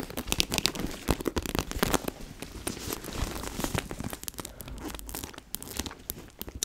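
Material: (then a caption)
Faux leather. Long nails tap and scratch a small, hollow pink and red Powerpuff Girls backpack made of faux leather. The result is a dense run of quick, dry, crisp ticks and bright, scratchy crinkling with no ring after each touch.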